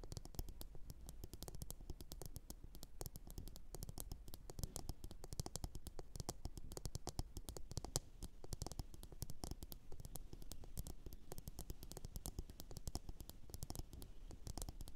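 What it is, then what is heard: Ceramic bowl tapped and scratched with nails. Long orange nails tap and scratch across a glossy blue ceramic bowl turned upside down and hollow. The result is a quiet, steady stream of rapid clicks and scrapes with a low, hollow thump under bright, crisp edges. Each tap dies away almost at once.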